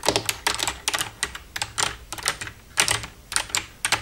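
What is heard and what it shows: Long red-painted nails tap and type across the keys of a black plastic desktop computer keyboard with a hollow casing, using both hands. A rapid, uneven series of short, bright plastic clicks and clacks is heard, each dying away almost at once with very little low end.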